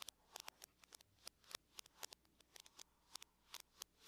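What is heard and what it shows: Long nails tap with the fingertips of both hands on the lid of a closed silver aluminum laptop. About twenty quick, bright clicks sound in an irregular rhythm, each dying away instantly with no ring. They are soft and have almost no low end.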